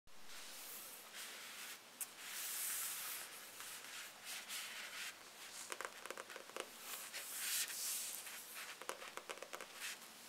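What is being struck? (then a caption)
Paperback book, paper block with glossy card cover. Long painted nails and fingertips tap and scratch across the glossy card cover of a thick Harry Potter paperback, a solid paper block that first lies flat and is then held upright on a table. Quiet, bright, papery scratching and rubbing sweeps come in waves, broken by short, sharp clicking taps with almost no ring.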